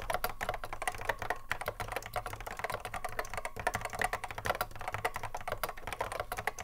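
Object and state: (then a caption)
Mechanical keyboard typing. A cream Apple M0110A keyboard, with a hollow plastic case and Alps SKCC mechanical switches, sits on a wooden desk while the fingertips of both hands strike the keys in continuous touch typing. Dense, rapid clicky keystrokes with short, sharp attacks and a hollow midrange tone around 940 Hz pour out over a steady low hum.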